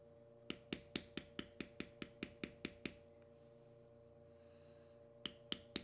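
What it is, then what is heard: Vegetable-tanned leather being tooled. A metal beveler, pressed by the fingertips against a tan carved strip of vegetable-tanned leather resting on a stone slab, is tapped with quick repeated strikes. Twelve sharp, bright clicks come in a steady run, followed by a pause and then three more, each dying away almost instantly over a faint steady background hum.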